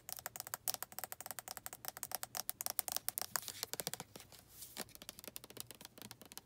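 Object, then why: Plastic lotion bottle with flip cap. Long red nails tap the flip cap of a white plastic lotion bottle and scratch along its body. Dozens of quick, crisp, bright clicks come in a steady rapid stream, broken by a few short stretches of dry hissing scratches. The sound is light and close, with almost no low end and no ring after each tap.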